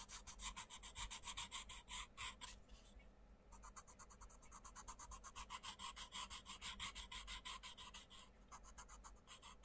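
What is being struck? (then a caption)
Coloured pencil on a thin paper page. A wooden coloured pencil rubs and scratches in rapid back-and-forth strokes across a thin paper page of an open colouring book lying flat, with fingertips holding the page. The strokes give a bright, scratchy rasp in steady fast pulses, fading into softer, quieter rubbing briefly near the third second before the quick strokes resume.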